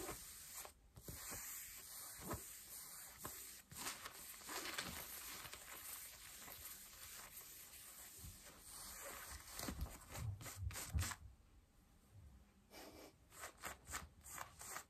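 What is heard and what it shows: Long nails scratch pale yellow denim jeans on the thigh and front, producing a steady, bright, raspy fabric rasp. The scratching comes in uneven strokes with soft low thumps, growing denser toward the end.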